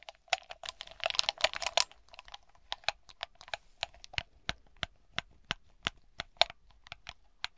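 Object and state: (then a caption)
Glass bauble grape cluster. Long black nails tap on a cluster of small hollow smoky glass balls, decorated with ribbon and green glitter like a grape bunch, resting on a dark cloth. A quick flurry of dense clicking taps over the first two seconds gives way to slower, evenly spaced single taps. Each tap is short, dry and bright, with almost no ring.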